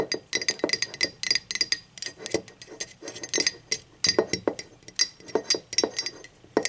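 Long acrylic nails tap rapidly on the wall, handle and inside of a hollow, empty, speckled teal ceramic mug lying on its side. Each tap gives a sharp, bright click with a hollow midrange body and a very brief ring. The taps arrive in an uneven, fidgety rhythm of clusters and pauses.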